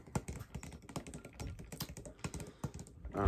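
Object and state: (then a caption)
Disposable drinking cup. A large white disposable drinking cup with a printed dot pattern, hollow and apparently empty, is held in one hand and tapped rapidly along its side with the fingertips of the other hand. The result is a quick, dense run of soft, dull, low taps with very short decay, ending in a louder rustling swell.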